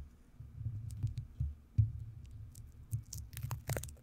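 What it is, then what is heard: Metal microphone grille. Long manicured nails and fingertips tap, scratch and rub across the hollow, rounded metal mesh grille of a large white studio microphone, which possibly has sticky tape residue on it. The sound is mostly low, muffled thumps and rumbling rubs, with a few sharper knocks. Occasional brief, bright scratchy ticks sit on top.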